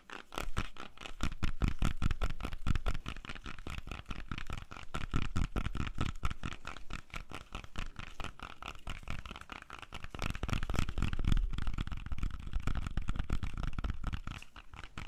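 A whole, solid red-yellow apple is held close to the microphone and tapped with fingernails. The rapid, uneven taps land as dull, low, hollow thuds with a faint clicky edge, and each dies away almost at once. The tapping continues steadily for about fifteen seconds.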